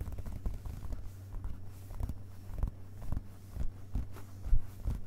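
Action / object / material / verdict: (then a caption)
tap / open hardcover book, paper pages / paper / none. Fingerpads of both hands tap on the printed paper pages of a hardcover book lying open on a carpet, striking the solid page block. The taps land as soft, dull, low thumps in an irregular series, each dying away quickly over a faint steady low hum.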